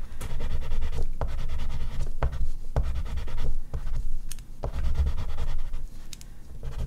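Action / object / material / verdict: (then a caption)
scrape / oil pastel on artist's paper / paper / none. An oil pastel stick is stroked and scratched in fine detail strokes across a large flat sheet of artist's paper on a board, with the hand resting on the paper. It makes a steady, low, rumbling scratch broken by brief dips and sharp, bright ticks.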